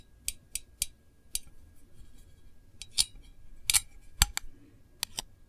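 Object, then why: Small metal candle tin lid. Long acrylic nails tap and scratch the rim and printed lid of a small, round, decorated Voluspa metal candle tin, which is hollow and seen first edge-on, then face-on. Eleven short, bright clicks ring off almost at once over a soft, low scraping hum, with the sharpest taps near the middle and end.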